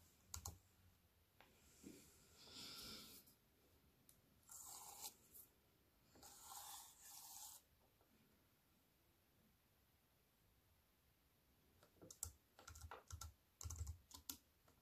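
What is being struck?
Plastic computer keyboard in a metal frame.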